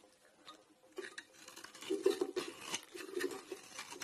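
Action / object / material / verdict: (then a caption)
scrape / round bar of soap / soap / none. A blade scrapes shavings off the domed surface of a solid grey round soap bar held in the hand. After a near-silent start, dry, gritty scraping strokes come in short, overlapping bursts with a mid-range tone and a bright, crackly edge. The sound grows busier toward the end, with no ring after each stroke.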